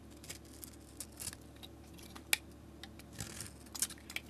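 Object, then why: Bar of soap cut with a metal blade. A metal utility blade, held in a hand with long nails, shaves strips off a solid soap bar that has a painted marbled coating and a pale yellow interior. The result is a quiet series of crisp, bright scraping cuts and short dry ticks, with one sharper snap near the middle.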